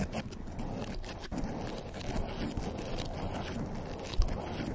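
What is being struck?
Foam microphone windscreen.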